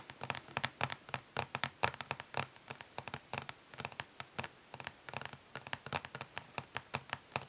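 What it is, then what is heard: Plastic makeup palette case. Long nails tap quickly on the ridged, smoky plastic back of a makeup palette case, with some light scratching. About 43 sharp, dry clicks follow one another in a fast, uneven rhythm. Each click is bright and crisp, dies away almost at once, and carries little low end.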